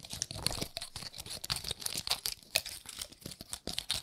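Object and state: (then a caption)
Pine cone scratched with nails. Long nails scratch across the woody scales of a dry, gold-painted pine cone. The result is a dense run of short, bright crackles and ticks, like crinkling or tearing. Each one snaps off almost instantly, with very little low end.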